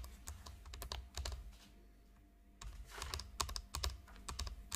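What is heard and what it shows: Long acrylic nails on both hands rapidly tap and scratch a flat, rectangular, hollow makeup palette shaped like a chocolate bar, with a shiny gold metallic plastic finish, lying on a pink tablecloth. Quick, irregular, dry clicks and scratchy taps have a low, hollow knock beneath them and die away almost instantly. A brief quiet pause falls midway before the tapping resumes.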